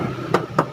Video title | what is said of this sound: PASTI SUKA!!!Jual Suzuki Katana DX Tahun 1994 Plat K Jawa Tengah | Bagian samping pun masih nyaring, masih tipis